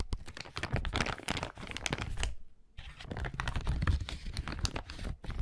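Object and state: Clear plastic bag.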